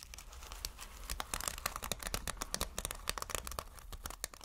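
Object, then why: Sequin fabric. Fingertips brush and scratch across multicolored reversible sequin fabric, flipping the sequins. A dense run of quick, bright clicking and crinkling ticks plays over a steady low hum.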